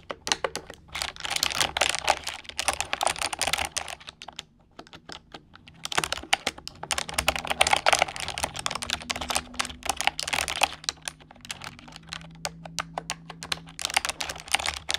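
Both hands type on an orange plastic computer keyboard with fingertips and long nails, making fast, bright, clicky keystrokes. The typing comes in dense bursts with short pauses near 4–5 seconds and again around 11–12 seconds. Faint low steady tones sit underneath.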